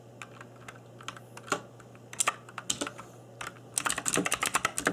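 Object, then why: Mechanical keyboard with plastic keycaps. Fingertips in black nitrile gloves type on an RGB-backlit mechanical keyboard with plastic keycaps. Sharp, bright clicks come sparse and uneven at first, then build into a quick run of taps toward the end. A steady low hum sits underneath.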